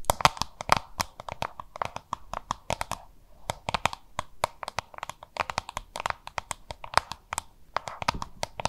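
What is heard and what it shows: Long manicured nails rapidly tap and scratch the cartoon label side of a small, hollow, oval yellow-green plastic lunch box printed with "Have a look," held in both hands. The result is a dense stream of sharp, bright clicks and crinkly scratches with a hollow mid-range tone, pausing briefly around three seconds before resuming.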